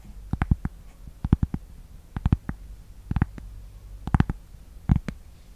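Long painted nails tap and scratch a thin, solid, flat rectangular cork board or coaster held close to the mic. The sound is a series of short, dry, muffled clicks in quick clusters of two to four, with a deep low thump under each and almost no ring, over a faint low hum.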